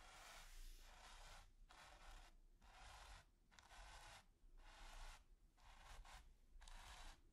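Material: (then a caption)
Canvas. A stiff natural-bristle paint brush with a wooden handle and metal ferrule is dragged across a flat, taut, finely textured grey primed canvas, scratching and brushing its surface. Repeated dry, raspy strokes of broadband hiss reach into the high range and are separated by short pauses. A steady low rumble sits underneath.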